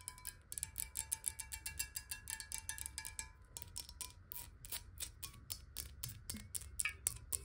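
Long nails tap rapidly on a clear glass water bottle with water inside, held horizontally and then upright. Quick, bright clicks with almost no ring come in a fast, uneven stream, over a faint tone near 1 kHz early on and a low background rumble.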